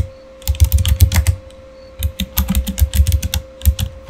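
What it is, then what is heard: Plastic mechanical keyboard being typed on. Fingertips type on a Razer mechanical keyboard with plastic keycaps and an RGB backlight. The clip holds two bursts of quick, clacky keystrokes with deep thumpy bottom-outs and bright clicky tops, separated by a short pause. A steady faint hum sits underneath throughout.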